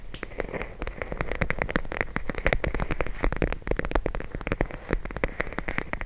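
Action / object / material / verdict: tap / plastic bag of gel beads / plastic / none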